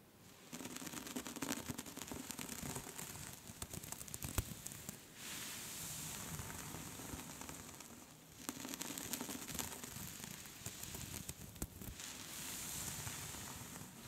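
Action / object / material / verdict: scrape / cable-knit wool scarf / knitted yarn / none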